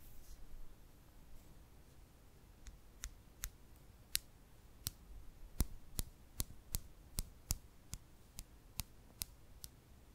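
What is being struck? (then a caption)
Loose freshwater pearls. About twenty small solid nacre freshwater pearls lie loose in an open palm while long painted nails pick up, roll and click individual pearls against the others, rubbing and tapping lightly. Sharp, bright clicks ring out one after another over a faint low rustle, growing steadier and more regular in the second half.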